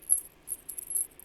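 A metal anklet with a little bell on the end is shaken close to a microphone. Its high, faint jingle comes in several quick bursts with very short ring.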